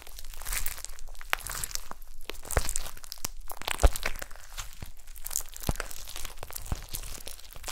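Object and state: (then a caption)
Glitter slime. A soft, solid blob of gold glitter slime on a table is squished and poked with long nails and fingertips. It makes dense, crinkly, crunchy crackles and sharp bright pops over a low, soft rumble. The sound continues steadily throughout.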